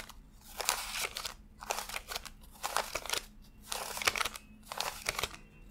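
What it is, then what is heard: Paper banknotes. Fingertips flick and rub individual thin US $100 paper bills one by one while counting a stack fanned on a desk. Five bursts of crisp, bright paper crinkling and rustling come at a steady pace, separated by short quiet gaps, over a faint low hum.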